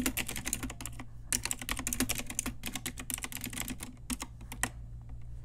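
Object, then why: Mechanical keyboard with plastic keycaps. Fingertips and long nails of both hands type on a pink Ajazz typewriter-style retro mechanical keyboard with round plastic keycaps. Rapid, bright plastic clicks and clacks follow one another, with a brief pause around the one-second mark and a steady low hum underneath.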